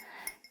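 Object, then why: Hand-blown glass drinking glass. A hand-blown glass drinking glass, its outside covered in shimmery pieces of glass and its rim still translucent, is tapped twice. Each tap gives a bright, high clink near 2.1 kHz that rings only briefly, with the second softer than the first, over a faint background hiss.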